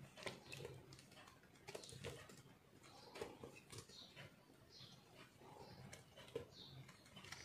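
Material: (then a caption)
Soap. A metal knife blade scrapes and carves dry, crumbly chunks from a solid pink soap block held in the hand. The result is a quiet run of short, gritty scraping strokes with crisp, crunchy bright edges and soft low rustling between cuts.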